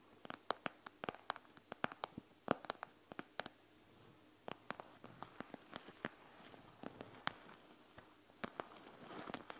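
Long nails tap and scratch the plastic surface of a panda gel bead eye mask, over the gel beads inside, first with one hand and then with both. Quick, dry, bright clicks come in irregular bursts with no ring, over a soft, low scratching hiss that grows toward the end.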